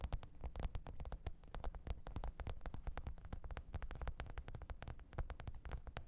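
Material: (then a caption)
Faux leather. Long pointed nails tap and scratch the top of a black textured faux-leather hard-shell zippered microphone case lying flat on fur. The result is a quiet, rapid, continuous stream of short, dry clicks with a soft, low, thumpy body. Each click dies away almost instantly.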